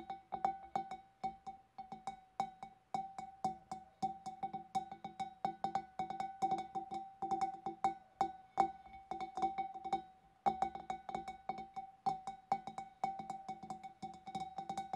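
Long nails tap rapidly and irregularly on the rim and the inside edge of the neck of a large, empty, clear glass fish bowl. Each tap gives a short, bright glassy click with a hollow ring centered near 780 Hz that fades quickly.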